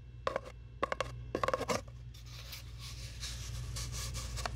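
Long nails tap a long, hollow brown cardboard tube held close to the mic, giving a quick run of sharp, hollow knocks in two short bursts with a resonant tone near 550 Hz and 1.1 kHz. The nails then scratch along the tube in a steady, bright, papery rasp that slowly grows louder, over a constant low hum.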